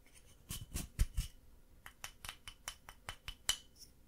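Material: Plaster.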